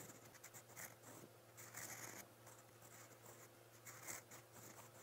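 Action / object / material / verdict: scrape / steel pen nib scratching on a paper notebook page / paper / none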